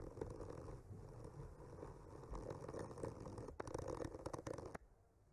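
The tip of a bamboo skewer traces and scratches across a solid wooden panel painted with trees. It makes a soft, steady, low scraping rub that turns into quicker, sharper scratchy strokes near the end. The sound then stops abruptly, leaving a quiet tail.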